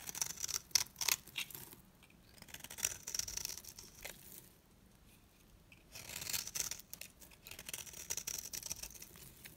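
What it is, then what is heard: Dry soap bar scraped with a blade. A metal box-cutter blade scrapes the surface of a dry, solid, round, flat green soap bar, palm-sized and held in hand, shaving it into long curls. Bursts of bright, crisp scraping and crackling come in uneven strokes, separated by quieter pauses.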